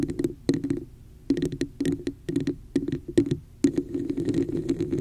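Long nails tap and scratch the embossed woven-textured sides of a hollow, empty red plastic cup sitting over the mic. Quick bursts of hollow, boxy taps ring around 285 Hz, mixed with brief bright scratchy rasps and separated by short quiet gaps. Toward the end the tapping and scratching blend into a steadier run.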